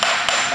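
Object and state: Fully seated steel crankshaft timing gear.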